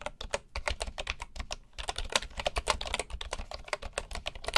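Fingertips type steadily on a full-size bamboo keyboard with wooden keycaps. Each keystroke makes a short, dry clack with a bright edge and a soft low thump, dying away almost at once. The strokes come in a quick, uneven run of overlapping taps.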